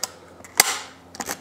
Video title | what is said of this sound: Second Hand Shotgun? Hot Tips | has a nice click to it